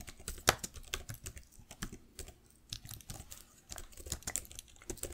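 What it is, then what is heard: Plastic laptop keyboard. Fingertips and long nails type on the plastic keys of a black laptop keyboard, producing a quick, uneven run of short, bright clicks and taps. One sharper, louder click stands out near the start, and the typing continues softly through the clip.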